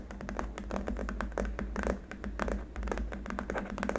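Both hands tap with fingertips and short nails on a long, flat, solid white hard-plastic keyboard wrist rest. The result is a quick, uneven run of short, dry clicks that die out almost instantly, over a steady low hum.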